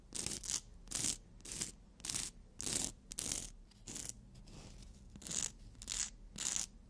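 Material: Emery board.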